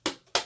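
A plastic beading board for jewelry design is knocked twice, for comparison with a wood board. Each knock is a short, bright, hollow tap with almost no low end that fades within a fraction of a second. Unlike the wood board, it does not sound solid.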